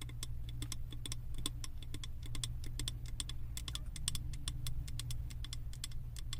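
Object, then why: Wax-filled glass candle jar tapped with fingernails. Long acrylic nails tap rapidly on the side of a large glass candle jar filled with solid wax and printed with house designs. Each tap is a short, bright click that dies away almost at once, over a steady low rumble.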